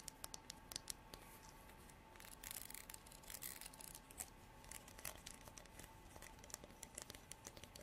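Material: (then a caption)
Horn. A translucent amber comb, probably horn, is held in both hands while long artificial nails strum and scratch across its fine teeth. The sound is quiet, with sharp, bright clicks and dry, scratchy rasps that swell into denser bursts of scraping, over a faint steady tone near 900 Hz.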